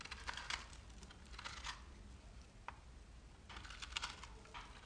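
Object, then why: Soap bar scraped with a metal knife. A metal knife blade shaves and scratches the edge of a handheld solid bar of dry, crumbly, speckled green-pink soap. Short bursts of crisp, bright scraping and crackling come in clusters over a quiet, steady low hum, with a sharp, isolated scrape in the middle.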